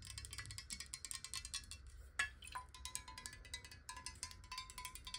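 Long nails tap rapidly on a clear square glass bottle partly filled with water, held sideways and then upright. The result is a fast, uneven stream of bright, clicky taps with a faint glassy ring near 1 kHz, plus one sharper, louder tap midway, over a soft low rumble.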